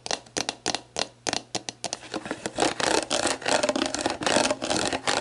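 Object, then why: Plastic drink bottle with label. Long black nails tap and scratch the label of a clear, hollow, mostly empty plastic sports drink bottle lying on its side. Crisp, separate taps come first, then faster, denser scratching as the label crinkles with a bright, dry rasp.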